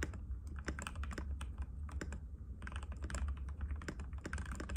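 Fingertips of both hands type continuously and rapidly on a compact cream-white mechanical keyboard with plastic keycaps and a hollow case, resting on a glass table. Dense, clicky taps with short, bright transients run over a steady low hum.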